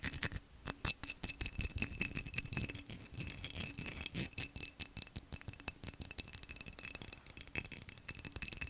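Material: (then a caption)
Glass. Fingernails tap rapidly on a tall, hollow, empty cobalt-blue vase of textured, cut-pattern glass held upright. Roughly 45 quick, sharp clicks rattle out with a bright, high glassy ring that dies almost instantly, with very little low end.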